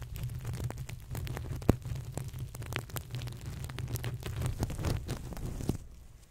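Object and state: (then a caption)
Sequin fabric pillow. Hands rub and press the sequin surface of a soft, stuffed green crocodile sequin pillow over and against a FIFINE K690 microphone. A steady low, rumbling handling noise is dotted with dense, crisp sequin clicks and scratches, and one sharp pop rises above the rest early on. The rubbing stops just before the end, leaving near silence.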